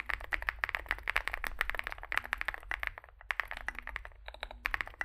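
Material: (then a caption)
Plastic and metal. Two hands type rapidly with their fingertips on a Zoom65 65% mechanical keyboard with a dark case, likely aluminum, white and grey SA-profile plastic keycaps and lubed switches, resting on a desk mat. The result is a dense stream of short, dry clacks centered around 1.8 kHz with no ring, with a brief lull around the three-second mark.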